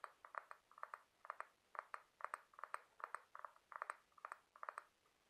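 Fingertips and short nails tap and scratch along the ribs of a large white ribbed scallop shell, a hollow calcium carbonate half-shell held in one hand. The result is quiet, dry clicks with a slight rasp, centered around 1.2 kHz, coming in quick clusters of two or three. Each click dies away almost instantly, with no ring and no low end.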